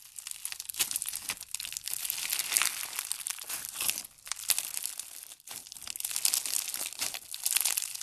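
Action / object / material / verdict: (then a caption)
scrape / foam bead slime (floam) / foam beads / none. A large solid mass of pink foam bead slime (floam) is pulled apart and pressed with the fingertips, making the beads crunch. Dense, bright crackling and crinkling runs in irregular bursts with brief pauses, and no low end.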